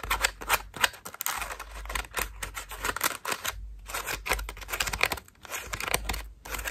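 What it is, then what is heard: Foam bath loofah scratched by nails. Long nails rapidly flick, pluck and scratch the petals of a cream foam bath loofah. The result is a fast, uneven run of crisp, bright scratches and papery snaps, each one dry and short, with no ring.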